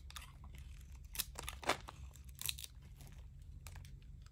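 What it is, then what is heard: Dry, crumbly soap bar. A metal utility blade scrapes crumbly shavings off a dry, palm-sized solid white bar of Palmolive soap held in the palm. The result is a series of short, dry, bright crunching scrapes, with a few louder bursts, over a steady low hum.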